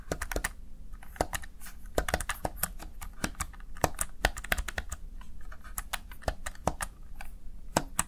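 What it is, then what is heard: Plastic gaming keypad. Fingertips press the keys of a plastic Razer Tartarus Chroma gaming keypad in an irregular, steady typing rhythm. Each press gives a short, sharp plastic click that fades almost instantly, over a faint low hum.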